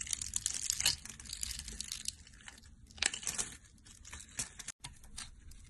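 A metal blade with a green handle scrapes a brown, rectangular, palm-sized bar of solid dry soap, pre-cut into a grid of small cubes and held in the hand, crunching the cubes off onto a pile of soap bits. Bright, dense crackling and crisp tearing crunches come in bursts, louder near the start and around the third second, with a brief silence just before the end.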